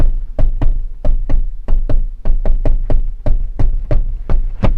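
A hand taps 17 times on the plastic interior door trim panel of a car to check for loose clips, giving quick, dull, low thuds with a short rattle after each, over quiet background music. This spot vibrates when tapped, marking it as a place where the trim's clips are loose.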